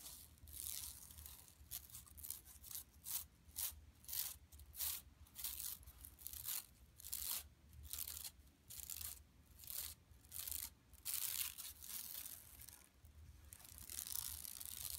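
Long nails on both hands scratch the surface of a large, flat, yellow woven plastic mesh tote bag lying empty on carpet. The strokes make bright, crisp rasping bursts in a steady back-and-forth rhythm over a faint, constant low hum.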